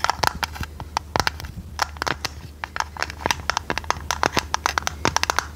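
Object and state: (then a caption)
Decorated metal tea tin. Long red nails tap and scratch a hollow, hand-sized square metal tea tin with a domed lid and a purple printed design. A rapid, uneven series of sharp, dry clicks sits around 900 Hz with bright edges and almost no ring, between fainter scratching. A steady low hum runs underneath throughout.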